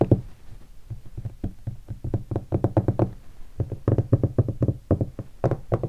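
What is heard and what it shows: Fingertips and a single finger tap on a hollow guitar hard case covered in black leatherette and vinyl stickers. The result is a quick, irregular run of short, dull knocks with a low, hollow thump around 113 Hz, with soft taps mixed among firmer ones. Each tap dies away almost instantly, with no ring.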